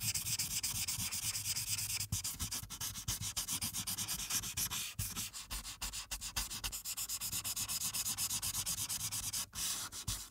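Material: Paper.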